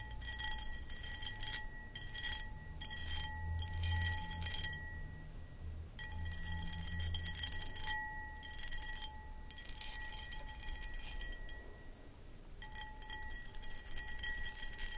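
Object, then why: Cut glass footed bowl. Long acrylic nails scratch the textured cut pattern of a medium-sized, empty, hollow clear cut glass pedestal bowl. Bursts of bright, gritty scratching come in short runs separated by pauses, while the glass keeps a steady, faint ringing tone under the scraping.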